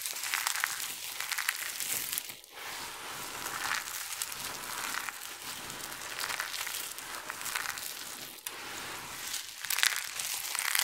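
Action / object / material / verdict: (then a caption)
scrape / pile of soap flakes / soap / none. Hands with long nails squeeze a handful from a heap of dry, colorful soap chips, then rake and rub through the pile with their fingertips. A steady, bright crinkling and crunching with dense, fine crackles carries on throughout, with no low end and brief quiet dips between handfuls.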